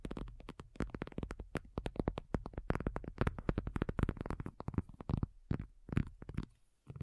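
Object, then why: Faux leather folding tablet cover. Long nails from both hands tap rapidly on a thin, hollow-backed black faux leather folding iPad cover lying flat. The taps are soft, dull and hollow, with a low thump around 105 Hz that dies away almost instantly. They fall in a quick, uneven patter that thins out toward the end.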